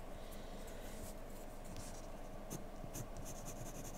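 A graphite pencil tip, held in the hand, makes short scratching strokes on a thin, flat paper drawing sheet lying on a desk. The sound is a quiet, steady texture with a low rumbling bed and faint, bright, scratchy ticks where the pencil drags across the paper.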